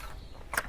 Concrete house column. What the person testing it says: kalau bunyi begini udah isi. Kalau tek tek tek tek itu bunyinya kopong, belum diisi